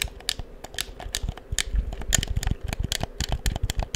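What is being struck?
Plastic game controller.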